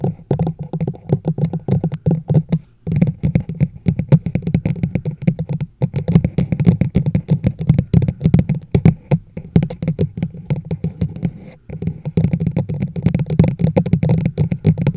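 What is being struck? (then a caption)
Hollow plastic travel mug. Long nails and fingertips tap rapidly on the sides of a large, hollow teal and white plastic chug mug with a black lid and handle, set upside down over a microphone. The taps make dense, quick, hollow low thuds centered around 160 Hz that die away almost instantly, with brief pauses near 3, 6 and 12 seconds.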